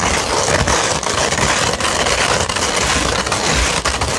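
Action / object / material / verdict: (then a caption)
scrape / sandpaper sheet / sandpaper / none. A sandpaper sheet, first rolled and then held flat, is scratched with long nails. The sound is a steady, loud, gritty rasp with bright, hissy texture and a low rumble underneath, broken by brief dips between strokes.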